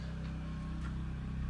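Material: Nothing is struck.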